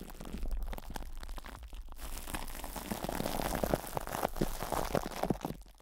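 Plastic cling film stretched over a hollow metal microphone grille is scratched by fingers, then cupped and squeezed with the fingertips. The result is a dense, continuous crinkling and crackling with many short, sharp pops. A low rumble sits underneath.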